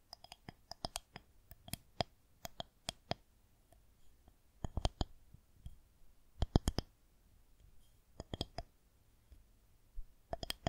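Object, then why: Plastic rolling pin. Long nails tap the top surface of a solid white plastic rolling pin held horizontally. Quiet, sharp, bright clicks come in quick bursts and scattered single taps, each dying away almost instantly over a faint low background hum.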